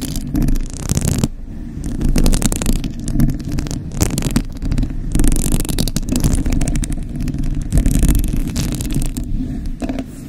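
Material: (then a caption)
Metal. Long acrylic nails scratch and tap the hollow, white-painted metal mesh grille of a large rhinestone-decorated desktop condenser microphone. The result is a close, dense mix of low, rumbling scrapes and rapid rattling taps, with bursts of bright scratching that come and go.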